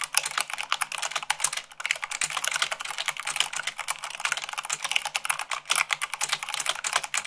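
Fast typing at about 98 words per minute with fingertips and long nails on a black mechanical keyboard with white plastic keycaps. A dense, continuous stream of sharp, bright plastic clicks and clacks with no low end. Each keystroke is dry and dies away almost instantly.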